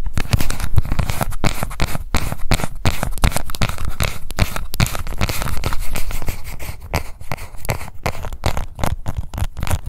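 Long nails scratch the base and rim of a small pink plastic cushion foundation compact held in both hands. The result is a dense, continuous run of quick, crackling scratches with a heavy low-end rumble, easing slightly quieter toward the end.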